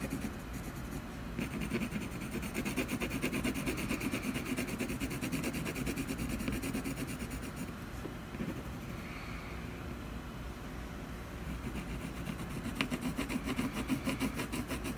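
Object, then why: Coloured pencil on a canvas panel. A blue colored pencil colors feathers on a solid canvas panel with small scratching strokes. A steady, dense rasp of fine, rapid strokes runs throughout, with a low hum-like body and a bright papery texture. It eases into a softer, quieter stretch around the middle before the brisker strokes return.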